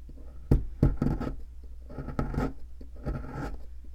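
A metal pick scratches and chips at a solid white plaster fossil excavation block held by hand. Two sharp chipping clicks near the start lead into short bursts of dry, gritty scraping that come in three rough clusters over a dull, low-heavy background.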